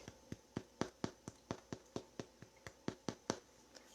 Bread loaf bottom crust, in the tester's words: I say it sounds Hollow that's what it sounds like